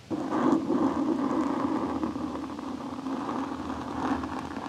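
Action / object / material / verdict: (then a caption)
scrape / foam microphone windscreen scraped with a metal blade / foam / none. A large metal chef's knife blade is slowly scratched and dragged across a soft, porous black foam windscreen covering the head of a Blue Yeti microphone, moving from the left and over the top. It makes a close, continuous scratchy rustle centered in the low midrange, starting abruptly and easing slightly in loudness as it goes.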